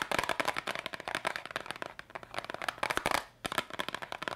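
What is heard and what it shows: A small yellow cardboard candy box is held up in both hands and tapped quickly with long pink nails. The result is a fast, dense run of short, dry clicks and taps with bright crackle and almost no low end. The tapping pauses briefly near the end, then resumes.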